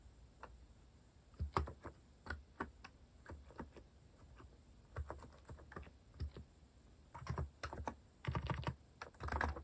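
Fingertips type on a compact white-cased mechanical keyboard with cat-themed plastic keycaps, producing a quick, uneven run of short, sharp clicks. Each click has a bright top and a low thump underneath, with brief bursts of faster typing toward the end.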